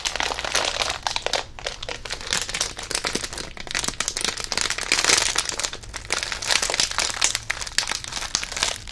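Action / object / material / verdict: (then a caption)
shake / plastic foil chip bag / plastic foil / none. A green Rizadas chip bag made of plastic foil and full of chips is held in both hands, crinkled and shaken, then raised overhead. The result is a continuous, dense, bright crinkling with sharp crackles and rustling throughout, with loud bursts swelling around the middle and near the end.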